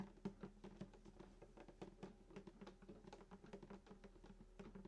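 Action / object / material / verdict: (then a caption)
tap / wooden acoustic guitar body / wood / none. Fingertips of both hands tap quickly on the hollow wooden soundboard around the bridge of a sunburst acoustic guitar lying flat. A steady run of quiet, short, dull thumps carries a low, hollow body resonance that dies away almost at once after each tap.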